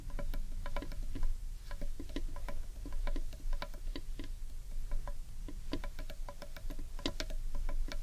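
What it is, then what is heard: Wooden bowl tapped with fingernails. Long nails tap and scratch the underside of a large, hollow carved wooden bowl. The sound is a quick, irregular patter of dry, woody clicks, each with a short hollow ring around 600 Hz. A steady low rumble sits underneath the whole clip.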